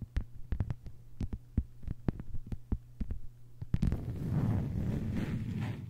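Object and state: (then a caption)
Plastic cutting mat tapped with nails. A flat, thin, solid lime-green plastic cutting mat lying on a table is tapped with long white-polished nails of both hands. The taps are short, dull clicks over a low steady hum. Near the end they give way to a continuous scratchy rustle.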